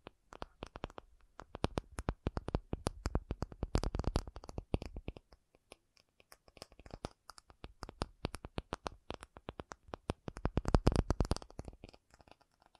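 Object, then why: Acrylic object. An acrylic object is tapped in quick, dense bursts of short, dry taps. Each tap dies away almost instantly, giving a soft low thud with little brightness. A brief pause near the middle separates two flurries, and the second rises to its loudest run before thinning out at the end.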